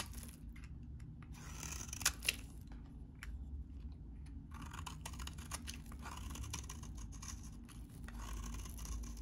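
A utility knife blade shaves and scrapes curled shavings off a solid, hand-sized, very dry vintage orange soap bar held in one hand. The cutting makes a dense run of crisp, crackly scraping bursts with a bright texture, including a couple of sharper snaps early on, over a steady low background rumble.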